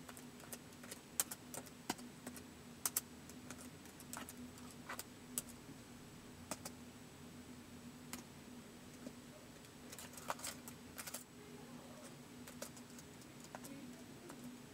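Single fingertip presses tap keys on a white plastic laptop keyboard in slow typing. The result is a steady, unhurried series of short, bright plastic clicks with brief gaps between them, over a faint, constant low hum.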